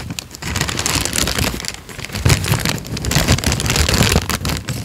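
A thin peach paper sheet is folded, then unfolded and flattened, and crinkled with the fingertips of both hands. A steady, dense crackle of bright crinkling runs throughout, with soft low thumps and slightly louder swells near the middle and end.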